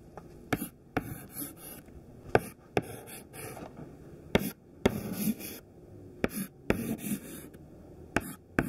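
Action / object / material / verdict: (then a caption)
scrape / chalk stick on a chalkboard / chalk / none. Fingertips hold a thin white classroom chalk stick and draw small squares on a flat, solid black chalkboard. Eleven sharp, dry taps of the chalk against the board are heard, with soft scratchy strokes in between.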